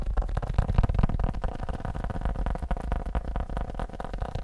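A leather phone case is tapped quickly with a rapid, uneven run of soft, dull thuds. The taps are deep and muffled, with almost no high end, and each dies away almost at once.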